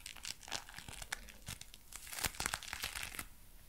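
A pair of dark brown leather gloves worn on both hands is held away from the microphone while the fingers flex, clench and rub together. The leather gives off quiet, dry creaks and bright crinkling crackles in quick, irregular bursts, with little low-end weight.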